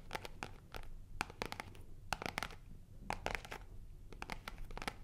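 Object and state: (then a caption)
Faux-leather zip wallet being scratched. A black faux-leather zip wallet is held in both hands and its surface is scratched with long nails. Quick, dry scratching strokes come in clustered bursts with short pauses, each stroke bright and crisp and dying away at once over a low steady rumble.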